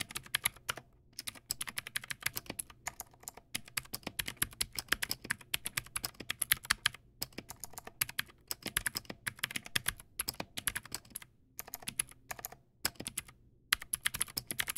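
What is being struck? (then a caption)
Mechanical keyboard with plastic keycaps. Fingertips type on a Teamwolf Zhuque+ X08, a backlit mechanical keyboard with white plastic keycaps and clicky blue switches. Rapid, sharp, bright clicks run in quick bursts with very little low end. Each keystroke cuts off almost instantly, with brief pauses near 1, 7, 11.5 and 13.5 seconds.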